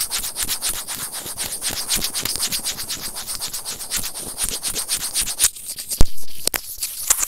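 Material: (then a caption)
Plastic. White plastic serrated tweezers held in the fingers scratch and rub the small, hollow, white plastic in-line remote of Apple earphones, which is the recording microphone itself. A fast, steady run of close, gritty scratching strokes comes through with a bright hiss over a low rumble. Near the end the strokes thin out and a few sharper, louder clicks stand out.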